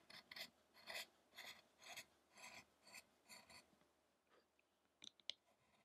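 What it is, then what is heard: Chisel carving a wooden statue. A fine chisel scrapes and carves the chest of a solid, light wooden Buddha statue depicting the penance of the Buddha, held flat on a table. A regular series of short, bright, rasping strokes fades out, then a few sharp, crisp clicks follow.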